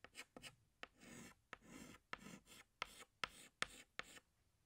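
A hand draws leaves with a green chalk stick on a large, flat black chalkboard. Ten sharp, bright taps sound as the chalk meets the board, most followed by a soft, scratchy stroke. The taps come at an uneven pace.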